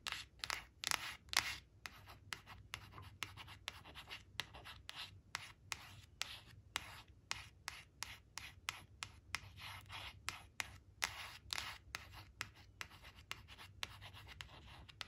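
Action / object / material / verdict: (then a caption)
scrape / glossy cardstock flash card / cardstock / none. Long blue nails scratch and trace along the crayon outline of an orange crayon picture on a thin, flat glossy cardstock flash card resting on a woven fabric. Quick, bright, dry scratching strokes come in a steady run of many short bursts, each ending almost instantly, over a faint low hum.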